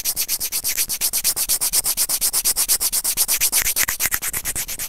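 Serrated white plastic tweezers, held in fingers, scratch and rub over a small, hollow white plastic earphone inline microphone remote. About forty quick, regular, bright scraping strokes come at roughly two per second, each a short, dry burst of high hiss with almost no ring and little low end.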